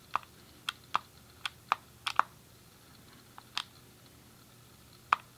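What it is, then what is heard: Plastic game controller buttons clicking. A grey, hollow plastic SNES game controller is held in both hands while the thumbs press and click its D-pad and colored buttons. Short, sharp plastic clicks land at irregular intervals, with a mid-pitched snap and bright upper edge, each dying away almost instantly over a faint, quiet background.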